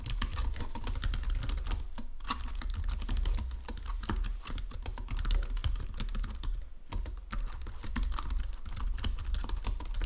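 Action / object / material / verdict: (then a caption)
tap / plastic computer keyboard / plastic / none. Fingertips with painted nails type across the low-profile keys of a full-size white and silver plastic Logitech keyboard resting on a marble desk. The result is a steady stream of rapid, light clicks over a low, thumpy base, with short pauses around the 2 and 7 second marks.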